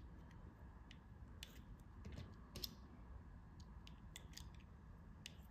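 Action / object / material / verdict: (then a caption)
scrape / soft bar soap cut with a metal blade / soap / none. A metal blade cuts notches and slices into a solid, yellow, flower-carved soft bar of soap held in the hand. It makes a series of quiet, crisp, bright clicks and short scraping snips over a steady low background rumble, each cut ending almost instantly.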